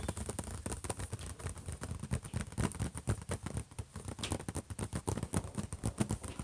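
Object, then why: Closed metal laptop lid. Both hands drum their fingertips rapidly on the closed lid of a silver HP laptop. The result is a fast, continuous patter of short, dull taps, mostly low thuds that stop almost instantly with no ring, over a faint steady high hiss.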